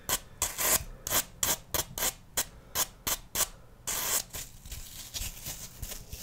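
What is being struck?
Floral foam block.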